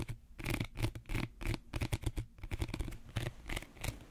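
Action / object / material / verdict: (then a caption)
scrape / woven reed basket / reed / none. Fingernails scratch the woven outer surface of a small, empty woven reed/wicker bread basket. Quick, uneven bursts of dry, raspy scratching blend bright crackly texture with a low, hollow rumble, and each stroke dies away almost at once.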